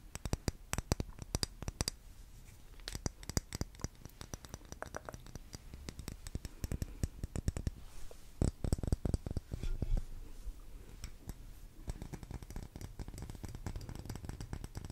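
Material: Wax.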